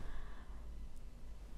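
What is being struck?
Nothing is struck.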